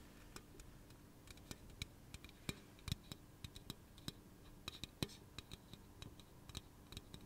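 Fingernails tap and scratch the body of a hollow pink aluminum soda can held in one hand. About 29 quick, sharp clicks with bright metallic ticks come at an irregular pace over a soft low rumble, each dying away almost at once. The taps stay quiet and close throughout.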